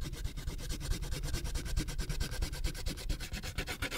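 A purple wax crayon rubs a thin paper coloring sheet resting on a clipboard, scrubbing in quick back-and-forth strokes around a poodle drawing, and the sheet is turned partway through. The result is a rapid, steady run of soft, scratchy rubbing strokes with a dull, low thump under each pass and a faint bright grainy edge.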